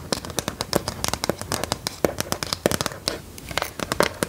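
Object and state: Plastic LCD writing tablet.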